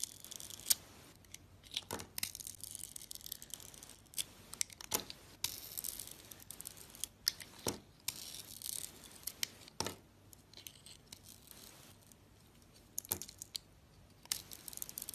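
A solid soap bar with a blue glitter coating and a white interior, held in the hand, is shaved in slices with a metal box-cutter blade. Many short, bright scraping and crisp tearing strokes sound over a quiet background, with almost no low end.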